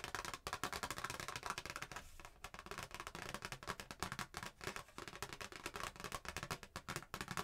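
A thin, flat, printed cardstock Christmas greeting card with a red truck picture is held in both hands and tapped and scratched with long painted nails. Rapid, dry, crisp clicks and scratchy rasps run almost continuously, with a bright papery edge and a brief lull just after two seconds. Each tap dies away almost instantly.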